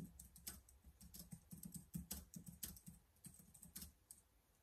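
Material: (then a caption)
Plastic. Fingertips type steadily on the keys of a black plastic laptop keyboard, making a quiet run of soft, quick clicks. Each keystroke has a low, hollow thump and a short bright tick on top, and dies away almost at once.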